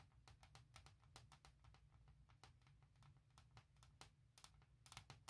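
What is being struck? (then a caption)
Hard plastic laptop case. Long red-black nails and fingertips tap and scratch fast across the flat surface of a thin, hollow, printed forest-pattern hard plastic shell case fitted on a MacBook Pro 16". Quick, dry, bright clicks follow one another with almost no ring over a low steady hum, and a quicker cluster of taps comes near the end.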